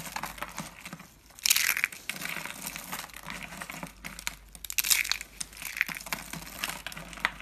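Small, hollow, rolled pink and teal dry soap curls are crushed and broken by fingertips into thin flakes. The result is a dense run of dry, bright crackling and crunching. It has louder bursts around 1.5 and 5 seconds, and the crackle runs over a faint low hum.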